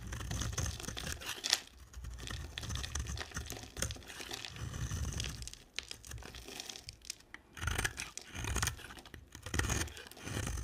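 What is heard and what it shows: A box-cutter blade carves and scrapes chunks off a solid, dry, hand-sized light-blue bar of soap embossed "POSHE." Crisp, crumbly scraping and crunching comes in uneven bursts, pairing a bright, papery rasp with soft low thuds. The cuts are short and dry with almost no ring, separated by quieter gaps.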